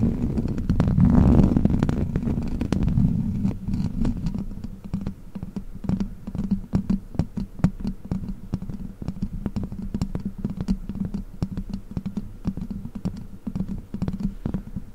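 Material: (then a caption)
Metal mesh. Long black plastic witch-finger claws scratch and tap the hollow metal mesh grille of a large silver microphone. A loud, boomy rumbling scrape swells in the first two seconds, then settles into a quick, uneven stream of dull, close-up taps and scratches. The sound stays deep and thuddy, with short clicky edges that die away almost at once.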